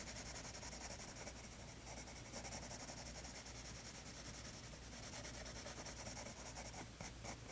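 A colored pencil, held in fingers with long painted nails, rubs and scratches across a tan toned paper page lying flat in a spiral-bound sketchbook while shading. The result is a steady, quiet, dry scratching with a bright, hissy edge that pulses slightly with each stroke over a faint low hum.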